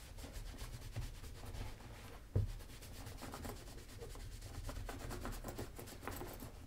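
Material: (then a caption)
Leather. A white cloth is rubbed by fingertips across the leather upper of a black leather Magnanni double monk-strap dress shoe, hollow with a wooden shoe tree inside, lying on its side on a table and held by one hand. Steady, low, muffled rubbing and swishing continues throughout, with one louder bump about a third of the way in.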